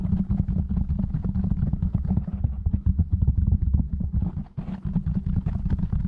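Fingertips from both hands tap and scratch rapidly on a black foam windscreen fitted over a silver microphone. The result is a dense, low, muffled stream of quick thumps and rustling with a low hum underneath, briefly dipping near the four-and-a-half-second mark before resuming.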